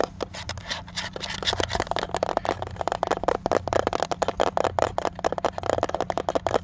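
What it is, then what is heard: Plastic camera body tapped and scratched. Fingertips and nails tap and scratch quickly on the flat top of a light blue, hollow plastic instant film camera with a round label on top. The result is a fast, dense run of short, dry clicks with scratchy friction between them.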